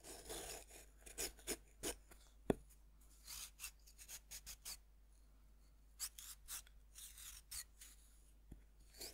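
A thin metal knife tip scratches and scrapes the powdery surface of a fist-sized, solid pink pressed-powder bath bomb that rests on a wooden board and is held by one hand. The result is a quiet series of short, bright, gritty rasps separated by pauses, with a couple of sharp clicks.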